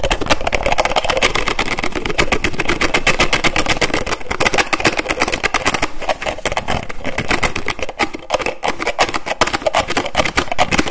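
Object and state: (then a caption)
Plastic lotion bottle cap. Fingers and nails rapidly tap and flick the flip cap of a white plastic lotion bottle. The result is a fast, continuous stream of sharp, hollow plastic clicks with a mid-pitched knock and a bright edge, each very short with almost no ring.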